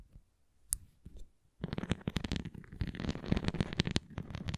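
A red translucent plastic flying ring toy with nubs, tilted flat, is scratched and tapped on its rim and surface by long nails. After a few sparse ticks, a dense stream of quick, dry clicks and scratchy rasps sets in, mostly low-bodied with brief bright snaps.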